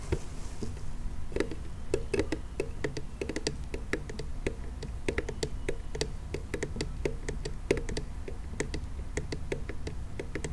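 A hand-sized, hollow pink plastic toy monster car with purple wheels and a teal tuft is held in the hands and tapped and scratched with fingernails. Quick, dry, closely spaced taps and bright clicks sound with a hollow plastic knock around 400 Hz. A steady low rumble runs underneath.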